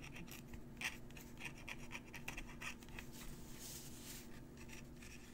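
A metal fountain pen nib scratches across a crumpled paper letter while writing. Quiet, bright, scratchy strokes come in short irregular bursts over a steady low hum.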